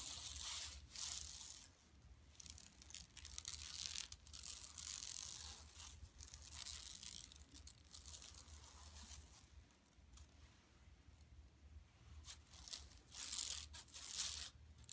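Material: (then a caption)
Plastic. Long nails scratch the center of a flat, empty yellow woven plastic mesh tote bag lying on carpet, using both hands. Quiet, bright, scratchy rasping comes in uneven bursts with brief pauses. A faint steady low hum sits underneath.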